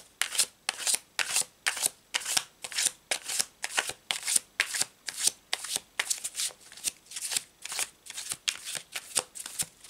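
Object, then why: Paper tarot card deck. A full deck of thin cardstock tarot cards with a checkered back is held in both hands over a cloth-covered table and shuffled with the fingertips, riffling the cards together. Quick, bright, papery rustling bursts repeat at a steady but loose pace, each one short and dry with no ring.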